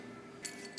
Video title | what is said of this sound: 1/3 Ounce of Gold, 1/3 Pound of Silver Custom Paydirt! Part 1/3 (VendettaProspecting) | sounds like glass i like it